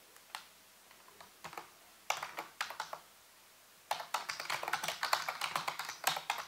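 Fingertips and nails type and tap on the keys of a full-size black plastic computer keyboard with a hollow housing. A few scattered taps give way to short bursts of keystrokes, then a steady run of rapid, bright, clicky strokes that fill the second half. Each click is crisp and decays quickly, with no low rumble.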